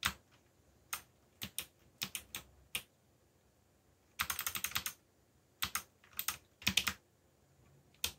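Fingertips type on a backlit mechanical computer keyboard with black plastic keycaps, producing bright, short clicky taps with almost no low end. Single and paired keystrokes come in scattered groups over a quiet background, including a faster burst of rapid typing in the middle and another cluster near the end.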